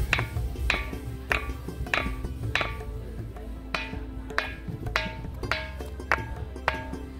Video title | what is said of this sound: Khanderi Fort - खांदेरी किल्ला - खांदेरी जलदुर्ग - Alibag - Maratha Navy - Khanderi Underi - Part 3 | याच्यावर वाजवल्यावर आपल्याला जसा तांब्याच्या दगड भांड्यावर दगड आपटल्यावर आवाज येईल तसा आवाज येतो